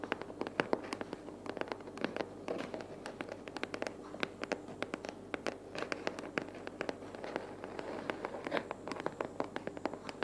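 Long purple natural fingernails tap and scratch a small, empty-looking, hollow brown corrugated cardboard box resting on a wooden table. A steady stream of quick, dry clicks and papery scratches with a hollow mid-range body comes through, each tap dying away almost at once. The taps stay quiet and fairly even over a faint low background hum.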